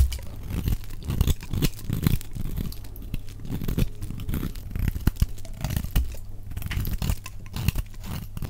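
A solid, dry, elongated blue soap bar, held in the hand, is carved with a utility knife blade that shaves flakes off along its edge, sped up to double speed. Repeated low, crunchy scraping and tearing strokes follow one another in quick bursts, with little bright content.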